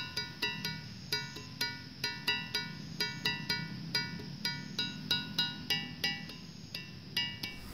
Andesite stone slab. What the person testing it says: gimana cukup nyaring kan